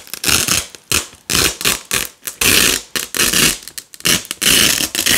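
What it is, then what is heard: Nylon hook-and-loop strips being peeled. Fingers with long nails peel red and white nylon hook-and-loop (velcro) strips off a black loop panel. Repeated bright, crackly ripping bursts follow one another, some short and sharp and others longer and sustained, with brief quiet gaps between them. The tearing noise is concentrated in the high range, with very little low end.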